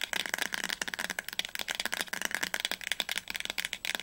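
Medium-length fingernails tap fast on the glossy paper-covered cardboard spine of a solid teal hardcover novel, 'Das Labyrinth erwacht', held upright. A steady stream of quick, dry, clicky taps dies away almost instantly, bright and crisp with almost no low end.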